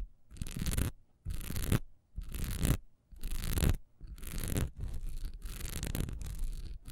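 Long nails quickly scratch a solid, honeycomb-textured wax pillar candle lying on its side, with the hands partly out of view at the end. The dry, bright rasping comes in short bursts separated by brief silences, then runs together into a near-continuous scratching toward the end.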